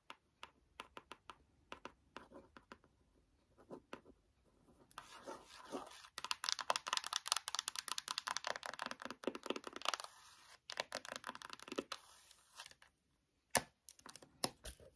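Long nails tap the cover of a closed white cardboard eyeshadow palette, then its spine edge, in quick, dry clicks with almost no ring. Sparse taps give way to a dense, bright flurry of tapping and scratching in the middle, then thin out again toward the end.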